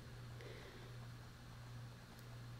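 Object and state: Nothing is struck.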